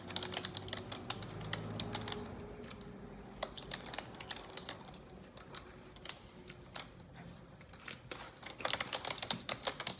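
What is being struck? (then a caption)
Plastic computer keyboard. Long neon-yellow nails type continuously on the keys of a black plastic computer keyboard. Sharp, bright clicks and taps come in an uneven, rapid stream over a faint low hum, growing denser and louder toward the end.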